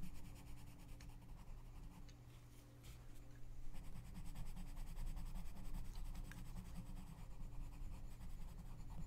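A gloved hand colors in an open paper coloring book lying flat, scratching the tip of a pink wooden colored pencil across the page. The result is a soft, continuous scratchy rasp over a low, steady hum, quieter at first and growing slightly louder midway.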